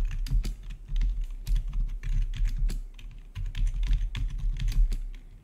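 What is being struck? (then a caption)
Plastic computer keyboard. Fingertips of both hands type rapidly on a full-size black plastic RGB backlit gaming keyboard with a hollow housing, recorded close-up. A steady stream of quick, bright key taps rides over a low, hollow thump from the housing, with short bursts and brief pauses in the rhythm.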